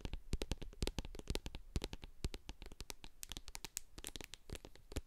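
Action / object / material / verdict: tap / plastic jar with metal lid, filled with cream / plastic / none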